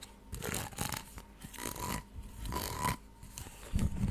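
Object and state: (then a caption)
Plastic corrugated tube. A white, flexible, hollow ribbed plastic tube about 30 cm long, held in both hands, is scratched along its ridges with long acrylic nails, then rests against a fluffy mic cover. Repeated raspy strokes rattle quickly over the ridges with a thin tone near 1 kHz. A louder, bassier brushing bump closes the clip.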